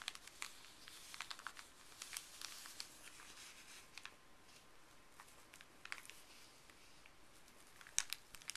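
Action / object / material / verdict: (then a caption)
scrape / small folded paper wrapper / paper / none. Gloved fingers pinch a small folded white paper wrapper with blue print, then press and rub it flat on a wooden table. Quiet, bright crinkling runs throughout, broken by many sharp little crackles, with the loudest snap near the end.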